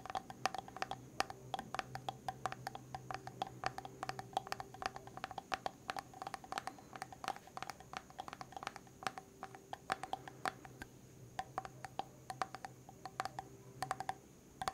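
Fingertips and nails tap rapidly on the shiny silver lid of a medium white plastic hair mask jar held in one hand, making many short, sharp clicks. The taps are quiet and dry with almost no ring, over a faint steady hum and tone.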